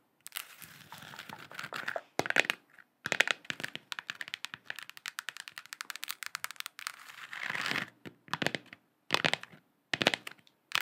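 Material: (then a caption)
Plastic. A lit, hand-sized hollow plastic moon lamp sphere with a galaxy print is held in both hands and tapped and scratched with long acrylic nails. Quick, bright clicks and crinkly scratching come in dense bursts separated by short silences, with almost no low end and no ring after each tap.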